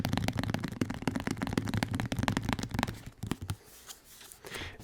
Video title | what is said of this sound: ASMR - Listerine Liquid Shaking & Ramble | it's plastic but it's kind of Bassy because of the liquid inside